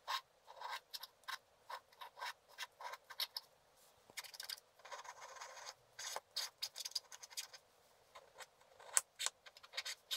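A wooden stylus scratches and rubs a black-coated scratch art card lying flat, working near its bottom edge to scratch out water lilies. Quiet, dry, bright scratching comes in quick short strokes, with a few longer rubbing passages in between, and no low end.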